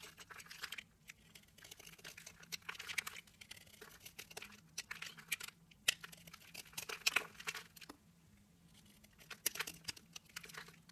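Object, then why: Solid soap bar scraped with a knife blade. A knife blade scrapes and shaves the surface of a small pink, purple and green layered solid soap bar held between fingers with dark nails, cutting it into powdery flakes. Many quick, dry, crinkly scraping strokes with bright, high-frequency texture come in bursts, separated by short quiet pauses, over a faint steady low hum.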